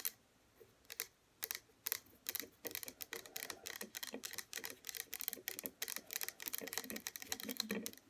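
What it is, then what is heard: Plastic serum bottle tapped with fingernails. Long fingernails on both hands tap rapidly on the front of a small pink plastic hair serum bottle (97 ml), standing upright, hollow and holding liquid. Sharp, bright clicky taps start sparse, then build into a dense, fast flurry. Each tap is crisp with almost no low end and dies away instantly.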